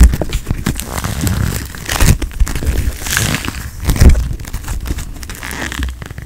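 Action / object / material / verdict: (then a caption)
scrape / foam-bead putty with polystyrene beads / foam beads / none. A palm-sized handful of bright pink floam, small polystyrene foam beads in a solid, squishy putty, is squeezed and kneaded between fingertips and thumbs close to a microphone that is not touched, with no brush used. It gives a steady stream of crunchy, crackling squishes with a deep, muffled low end and brief sharper crackles.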